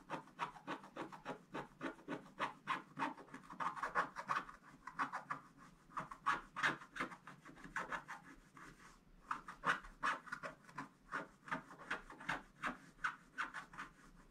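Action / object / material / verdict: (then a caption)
scrape / scratch-art paper scraped with a wooden stick / coated paper / none. A wooden stick, held near the bottom edge of a black-coated gold scratch-art page, scratches away the coating while a brush lies unused to the side. Quick, uneven, dry rasping strokes repeat at about three per second, each a short scratchy burst with a bright, papery edge centred around 1.5 kHz. There is a brief pause near the middle before the scratching resumes.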